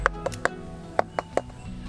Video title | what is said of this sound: Mùa sầu riêng ở Miền Tây, bạn có biết? Nông nghiệp Việt Nam | the sound is even more hollow and louder